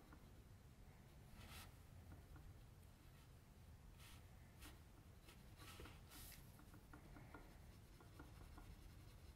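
A metal mechanical pencil tip scratches continuous lines and shading along the forehead and hairline of a drawing on a flat white sheet of drawing paper, which rests on a table and is steadied by the left hand. Quiet, steady scratching and rubbing strokes are heard over a low background hum, with a few brighter swishing strokes standing out.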